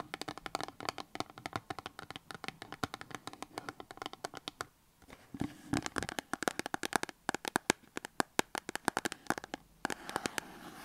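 Long acrylic nails tap and scratch a small printed cardboard box holding a soap bar, standing on a table. Dense, rapid, dry clicks and scrapes with a bright papery edge continue throughout, pausing briefly near the middle and again just before the end.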